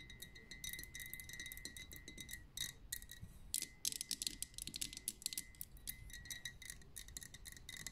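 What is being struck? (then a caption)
Liquid-filled glass lava lamp. Long nails tap rapidly on the upper glass of a pink lava lamp, a liquid-filled glass vessel on a metal base. The quiet, bright clicks are very short and come in fast irregular runs, with a faint steady ringing tone underneath.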